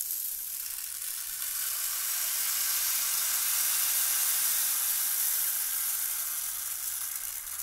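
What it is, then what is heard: Plastic rainmaker tube with beads. A clear, hollow plastic rainmaker tube with colored tiers and many small beads inside is held in the hands and tilted between horizontal and vertical, so the beads trickle and rattle down. The result is a continuous, bright, hissing patter with almost no low end, swelling slightly in the middle and easing off toward the end.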